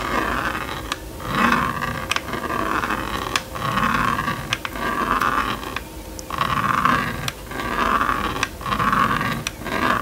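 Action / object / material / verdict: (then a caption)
scrape / plastic magnetic drawing board and stylus / plastic / none. A plastic stylus makes rapid back-and-forth scratching strokes across the screen of a small red and yellow plastic magnetic drawing board. The result is a steady, raspy scratch centered around 1 kHz that swells and fades with each pass, broken by sharp bright clicks as the stroke changes direction.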